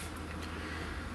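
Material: Nothing is struck.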